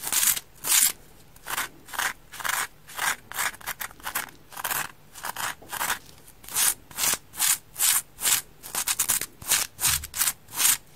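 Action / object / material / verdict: scrape / polyurethane foam kitchen sponge / polyurethane foam / none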